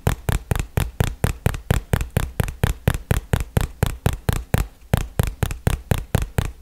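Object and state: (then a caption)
Cardboard box tapped. A small printed cardboard product box, likely hollow, held in one hand close up and tapped with fingertips and nails. There is a steady run of quick, dry taps, 28 of them, each with a deep, hollow thump and a short papery click that dies away almost at once.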